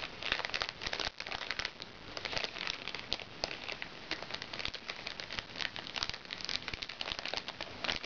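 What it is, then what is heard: Crinkly plastic makeup bag. A small, crinkly recycled plastic makeup bag is scratched and tapped with fingernails. Dense, bright crinkling and crackling with many quick taps and scratches runs steadily throughout, with little low end and a brief dip in activity around the one-second mark.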